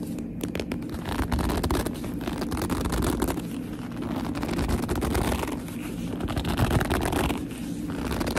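Long nails scratch and grip the top and front of a black leather handbag, making steady, dense scraping and squeaky rubbing. The sound is low-heavy and muffled, with rapid overlapping scratches across the whole clip.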